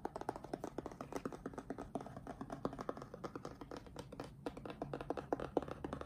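Fingertips tap rapidly on the top face of a closed, printed cardboard retail box for an Apeach keyboard, hollow with the product still inside, and then a hand rubs across it. Each tap is a short, dry knock with a hollow, mid-pitched resonance around 490 Hz and almost no bright content. The quick taps run together in a steady, dense patter.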